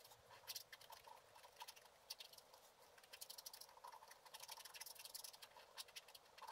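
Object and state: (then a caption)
Scratch-art card being scraped. A wooden stylus is scratched in short strokes across a flat scratch-art sheet, black wax coating over colored paper, held down by one hand, removing the black coating. It makes quiet, dry, bright scratching and scraping sounds with a thin tone around 1 kHz and almost nothing in the low range. The strokes come in quick irregular bursts that thicken toward the end.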